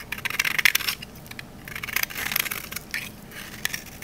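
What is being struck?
Olive oil soap bar.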